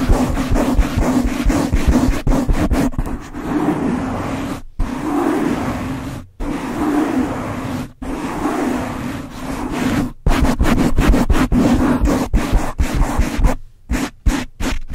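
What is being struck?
Foam microphone windscreen.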